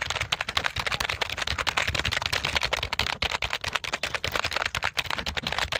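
A black, full-size, hollow plastic computer keyboard is held in both hands in front of the microphone while fingertips quickly press and tap its keys. The result is a dense, rapid stream of sharp, bright clicks and clacks with very short decay and little low end.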